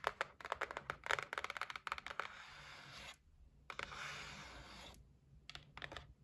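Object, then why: Cardboard gift box. Long nails tap on the lid and side edges of a closed white cardboard gift box, making quick bursts of dry, sharp clicks. Between the tapping runs come two longer stretches of bright, hissy scratching on the cardboard, and a few more taps close the clip.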